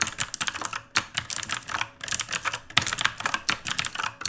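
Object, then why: Plastic mechanical keyboard. Fast two-handed fingertip typing on an RGB-lit black plastic mechanical keyboard with plastic keycaps. A quick, uneven stream of bright, crisp clicks and clacks, each dying almost instantly, comes in bursts separated by brief pauses.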